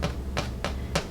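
Four hollow taps on top of a golden-brown raisin bread loaf fresh from 30 minutes in a 350°F oven. Each tap is a short, dull knock with a low thud and a brief mid-frequency click. The hollow sound shows the loaf is done baking.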